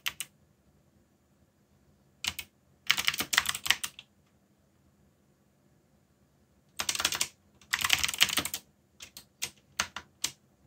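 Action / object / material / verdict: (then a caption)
tap / mechanical keyboard with plastic keycaps / plastic / none. Fingertips type at a moderate pace on a black, backlit mechanical keyboard with plastic keycaps. Bright, sharp clicks come in irregular flurries separated by pauses of silence. Each click dies away almost instantly, and a faint low hum sits underneath.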